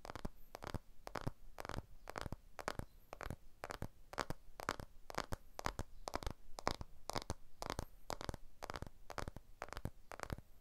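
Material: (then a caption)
Aluminium. Fingertips and nails tap and scratch the aluminium frame of a blue iPhone 12 smartphone with a glass back, held edge-on in both hands. The result is a steady stream of quiet, short, dry clicks and bright scratchy ticks with almost no ring, over a low rumbling background.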